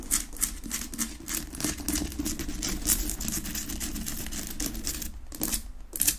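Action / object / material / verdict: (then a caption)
tap / rock-salt lamp / rock salt / none. Long nails tap and scratch fast and hard on a large, solid pink rock-salt Himalayan salt lamp sitting on a wooden base, unlit. Quick, crisp clicks blend with bright, gritty scratching in a dense, continuous patter over a low rumble.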